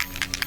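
A bottle of Dinair water-based airbrush blush in the shade bronze rose is shaken to mix it again. Its contents rattle in three quick, bright, clicking hits that die away almost immediately.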